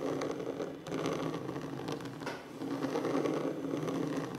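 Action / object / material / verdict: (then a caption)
tap / wooden tabletop / wood / none. Fingertips with short nails tap rapidly on a large, solid wooden tabletop, making a dense, continuous patter of soft clicks. The sound is warm and mid-toned, with a steady hum-like body around the low-mid range and only faint brightness on top. It runs without clear pauses, dipping briefly in level before picking back up.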